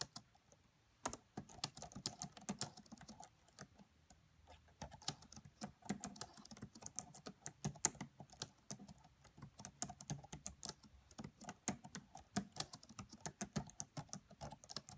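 Both hands type quietly on a red laptop's black plastic keys, tapping with long nails and fingertips. A steady run of short, bright clicks and soft taps fills the clip, with a brief pause near the start and in the middle.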